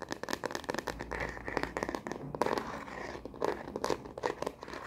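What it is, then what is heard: Plastic phone case tapped with nails. Long nails tap fast on a star-print plastic phone case fitted on a smartphone, first held upright and then horizontally. The result is a rapid stream of dry, crisp clicks with a slightly crinkly texture, centered in the midrange and dying away almost instantly with no ring.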